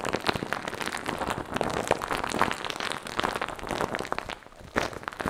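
Fingers rub, press and scratch a light-blue fluffy foam windscreen over a microphone. The result is a steady, dense crackle of close scratching and rustling with many quick, sharp bursts and brief dips.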